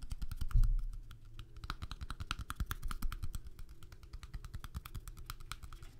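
A small deck of coated-paper playing cards, held in both hands close to the microphones, is riffled and flicked along its edges with the fingertips; the deck ends up held edge-on. A steady stream of quick, dry clicks and soft fluttering taps follows, low and thumpy with faint bright ticks. It peaks in a louder burst early on, then settles into a quieter, even patter.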